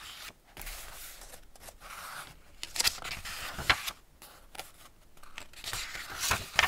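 An open Ladybird hardback paper picture book has its pages rubbed by fingertips and palms and turned. Soft, bright paper rustling and sliding fill the clip, broken by a few sharper crisp flicks and snaps as pages turn, with almost no low end.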